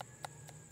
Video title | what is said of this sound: How to determine if durian is ready for harvesting | Tapos pag pitikin mo, parang hollow na yung ano niya, skin.